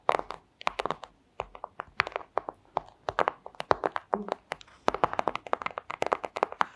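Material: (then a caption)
Plastic. A flat, thin, clear plastic pouch is tapped with long acrylic nails, giving rapid, irregular bursts of crisp, clicky taps. Each tap is dry and very short, centered in the midrange with bright edges, and the bursts are separated by brief pauses.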